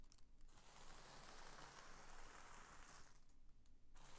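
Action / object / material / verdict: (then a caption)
scrape / thin tissue paper sheet / paper / none. A large, thin sheet of purple tissue paper lies flat on a woven bedspread while both flat hands press, smooth, slide over and crinkle it. The result is a soft, continuous papery rustle and crinkle with a low steady hum underneath, quieter at the start and end.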